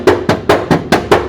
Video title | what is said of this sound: Quieting a Hilux? Sound Deadening a dual cab with Car Builders | under the rear seat you can tap on these areas and you can hear the noise